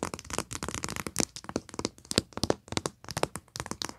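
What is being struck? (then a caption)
Flat foil paper pad with a paper cover. Long nails and fingertips tap and scratch the printed paper cover of a flat foil paper pad resting on carpet. The result is a rapid run of short, dry, crackly taps with bright scraping and crinkling between them, each sound dying away almost instantly.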